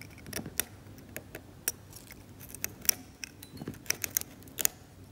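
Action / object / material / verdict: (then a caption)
scrape / varnished oil painting on canvas scraped with a metal scalpel / varnished paint / none. A metal scalpel held by the fingertips scrapes at a cracked, varnished oil painting on canvas near an exposed grey patch. The result is a run of sharp, bright, dry scratches and ticks over a quiet background, with almost no ring after each stroke.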